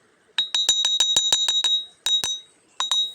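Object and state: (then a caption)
Ringing iron-bearing stone. A magnet-attracting, iron-bearing river stone is knocked 13 times in quick bursts and rings like iron, unlike ordinary stones. Each tap gives a bright, clinking metallic ping centered near 3.8 kHz, with a short ring that dies away fast.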